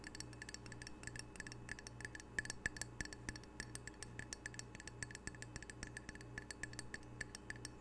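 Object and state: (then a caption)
Ceramic tile coaster. Fingernails tap rapidly on the glazed face of a small, solid, square ceramic coaster with red octopus art, held in the hands. The taps are quick, bright, dry clicks with a short tonal ping around 1.7 kHz that dies away almost at once. Underneath is a quiet, steady low hum that pulses on and off.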